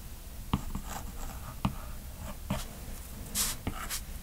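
The hard plastic tip of a stylus, held in the right hand, strokes continuously across the glass touchscreen of a large iPad lying flat, possibly fitted with a matte protector, while sketching lines. Soft, scratchy drawing strokes run under several sharp, short taps of the tip on the glass. Brief bright, hissy swipes rise near the end.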